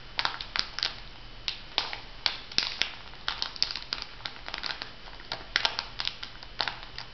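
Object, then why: Filled foil sheet-mask packet. A flat, brown, printed foil sheet-mask packet, still filled, is scratched and crinkled by long nails and fingertips. Bright, crackling crinkles and sharp scratches come in quick, irregular bursts over a faint steady background hiss.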